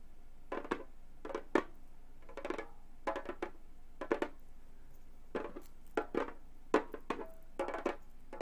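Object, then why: Frame drum with synthetic skin head, tapped with metal nail tips. A hollow Remo frame drum with a synthetic skin head is tapped with gold metal claw nails on both hands. Short bursts of quick, dry clicking taps come in irregular clusters, each with a bright attack and a faint hollow tone around 330 Hz that dies away almost at once. The tapping stays quiet throughout.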